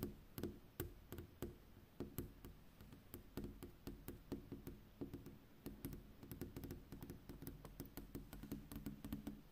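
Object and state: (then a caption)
Glass window pane. Long pink acrylic-style fingernails, on fingertips in a black fingerless glove, tap rapidly on a large flat glass window pane with a street reflected in it at night. The result is a steady, uneven stream of quick, dry clicks and knocks with a soft low thud beneath them. Each tap dies away almost instantly, with no ring.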